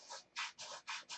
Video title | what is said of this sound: The real work begins "Tucker Special" | that's my thumb rubbing over the top of that. Way too rough.